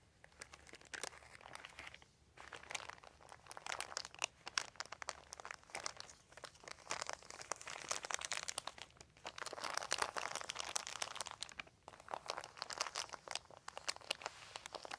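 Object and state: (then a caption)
Crinkled thin plastic sheet. Fingertips with short nails scratch and crinkle a large, thin, white plastic sheet with a dotted texture, lying crumpled on carpet. The result is a dense, crisp crackle of rapid crinkles, bright and with almost no low end. It swells and eases with brief quiet dips around 2, 9 and 12 seconds.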